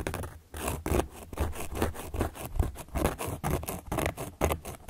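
A carving tool, held upright by long nails, is traced and scratched across the surface of a large, round, solid cork board. The result is a series of irregular, dry scraping strokes with a low, muffled body and brief bright edges, rising and falling without pause.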